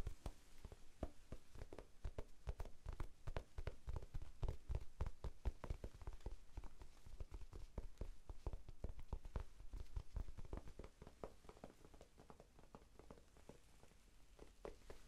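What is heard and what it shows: A small, soft, solid rectangular pink foam sponge is held in both hands close to the microphone and tapped with the fingertips. The taps are rapid, irregular, muffled low thuds with almost no ring. They grow a little softer toward the end.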